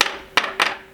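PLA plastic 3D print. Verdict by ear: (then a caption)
Hollow. A plain PLA plastic 3D print is tapped three times for comparison with a bronze-filled print, giving three short, bright clicks with a hollow sound. Each tap decays almost at once.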